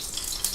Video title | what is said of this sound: A Superbowl Party! | Can you hear that? That means that it's at a high smoke point and ready to